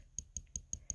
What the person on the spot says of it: hear that tapping. He is made of a different type of material. He is resin